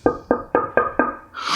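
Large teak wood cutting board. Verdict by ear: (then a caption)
Solid. Knuckles rap five times on a large Teak Haus XL teak wood cutting board in a knock-on-wood test, giving short, dry, mid-pitched knocks that die away almost instantly, followed by a brief soft rushing noise. The board sounds solid.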